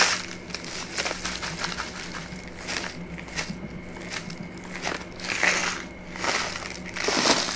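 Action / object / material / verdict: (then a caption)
scrape / kraft paper pouch / paper / none. A brown kraft paper pouch with a white label, held upright in one hand, is squeezed and crinkled with the fingers. It makes dry, crunchy, bright crackling that comes in uneven bursts with quick swells, over a faint steady low hum.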